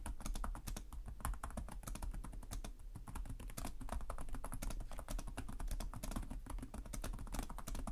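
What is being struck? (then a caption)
Plastic laptop keyboard. Fingertips with short nails type continuously on the plastic chiclet keyboard of a black laptop resting on a desk. The result is a steady stream of rapid, crisp key taps with short, bright clicks over a low, constant hum.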